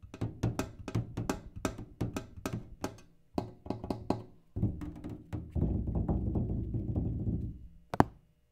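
A one-gallon rectangular tin kerosene can with a plastic cap, hollow, is tapped on its labeled side with the fingertips and nails. A quick run of short, dull, low thunks gives way to a denser, continuous patter of rapid taps. It ends with one sharp, brighter tap.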